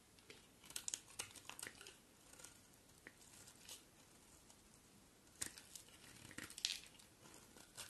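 A box cutter blade shaves a solid, hand-sized white bar of soap in repeated scraping strokes, piling up soap shavings. The strokes come as quiet, dry, crinkly scrapes and crunches, bright and high with almost no low end, in uneven bursts with brief pauses between them.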